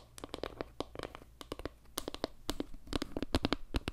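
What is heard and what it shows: Long nails scratch and tap across a round wooden board made of log slices with dark center tiles, striking both the center tiles and the surrounding slices. The result is a quick, irregular run of dry, short clicks and scratchy taps, each with a soft low thump and almost no ring, growing slightly louder toward the end.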